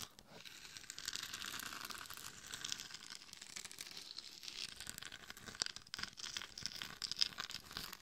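Long nails scratch and tap the sides and top of a hollow, glitter-coated mannequin head microphone. The result is a dense, bright, crinkly scraping texture with little low end, broken by quick, dry taps that die away almost instantly.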